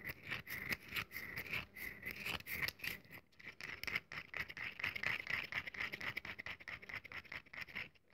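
A solid, rectangular, cream-colored bar of very dry soap is held in both hands and scratched and crumbled with long nails and fingertips, dropping crumbs onto the table. The result is a dense run of quick, dry, crisp scratches and crumbly crackles, bright and hissy with a strong presence around 2 kHz. It continues steadily for about eight seconds and thins out toward the end.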